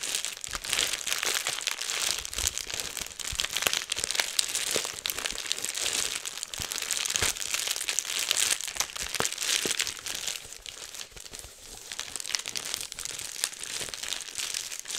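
A clear plastic bubble wrap sheet, partly rolled, is held close to the microphone and crumpled and popped with the fingers and fingertips, the same sheet throughout. Dense, bright crinkling runs continuously, punctuated by many sharp, quick pops, with almost no low end. The texture stays steady and close, easing slightly near the end before picking back up.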